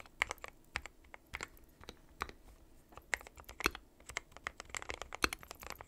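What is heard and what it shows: Fingertips of both hands type continuously on a dark metal-cased mechanical keyboard with white and pastel plastic keycaps. It makes a steady, uneven stream of sharp, bright clacks that die away almost instantly, with little low end and the odd louder keystroke standing out.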